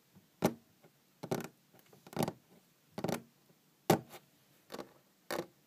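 Long green-painted fingernails tap on a large, solid wooden tabletop, making eight irregularly spaced taps. Each tap is short and dry, with a clicky attack and a faint, warm knock underneath that dies away almost at once. Quiet gaps separate the taps.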